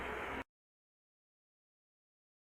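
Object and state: Nothing is struck.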